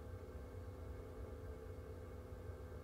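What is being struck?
Nothing is struck.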